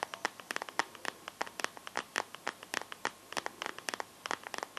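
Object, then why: Smartphone in a plastic case. Fingertips and nails scratch and tap the back of a smartphone in a translucent teal plastic case, held in both hands. About thirty quick, dry plastic clicks and scratches land in an irregular rhythm, each dying away almost instantly. The taps sound bright and thin, centered near 1 kHz, with no low end.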